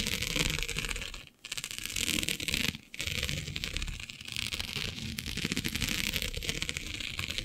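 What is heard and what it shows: Long nails scratch across the grid of a flat black iridescent plastic diamond mesh sheet, making a dense, bright, crackly rasp. The scratching runs almost continuously, with two brief pauses near 1.3 and 2.9 seconds, and each pass ends quickly with no ring.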